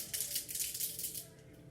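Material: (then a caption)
Metal. An aerosol can of dry-shampoo refresher spray is shaken hard, and the metal ball bearings inside rattle in a rapid, bright, high-pitched clatter that eases off toward the end. The rattle shows the product is properly mixed and ready to spray.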